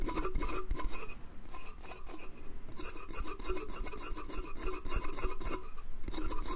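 Fingertips and nails tap and scratch the slats of a small, hollow, pine slatted wooden bath crate. Quick, dry woody knocks with a hollow mid tone mix with rasping, bright scratches across the slats. Each tap dies away quickly.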